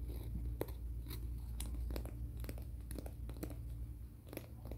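Fingernails are scratched and filed across the abrasive face of a flat, thin, solid grey-black emery board nail file held in both hands. Short, dry, scratchy strokes with bright edges repeat at an uneven pace over a steady low hum.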